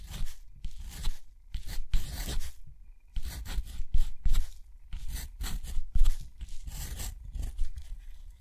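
A metal dip pen nib scratches across a flat sheet of thick textured cotton watercolor paper, writing letters one after another. Irregular bursts of bright, rough scratching come with soft low thumps as each stroke starts and stops, separated by short pauses.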